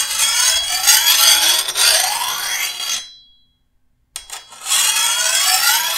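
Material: Steel.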